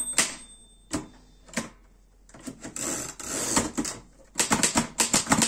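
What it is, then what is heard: Metal portable typewriter. Fingertips type on the keys of a black metal Erika 5 portable typewriter. A few spaced, sharp metallic key strikes with bright clatter give way to a rougher, more continuous stretch of mechanical rattling. It ends in a quick, dense burst of keystrokes.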